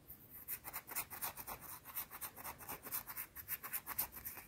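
Long dark-teal nails scratch the face and edge of a round, flat, solid white soap bar. Fast, uneven scratching strokes rasp in quick succession, each a short, bright, dry burst with little low end.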